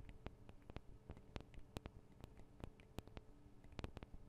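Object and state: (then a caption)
Metal microphone capsules of a recorder being tapped. Long acrylic nails tap on the tops of the small metal microphone capsules of a Tascam DR-40 recorder. Each tap is a quick, dry click that stops almost instantly, with bright ticks over a deep low thump. The taps come in a steady run of separate strikes against a quiet hiss.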